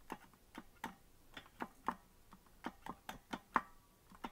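Fingertips tap the plastic keys of a hollow green plastic melodica that is not being blown, giving about twelve separate soft, dry clicks at an uneven pace. Each click is short, with a mid-range knock and brief bright edges and almost no ring.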